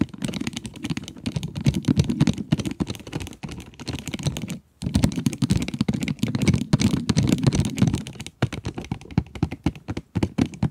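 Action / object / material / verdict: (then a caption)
tap / cardboard pencil box with plastic window / cardboard, plastic / none. Long nails tap and scratch on the plastic window of a cardboard pencil box. The result is a rapid, dense run of short, dull taps with a low, thumpy body and a faint scratchy rasp. It is broken by a few brief pauses before the tapping resumes and then thins into scattered taps near the end.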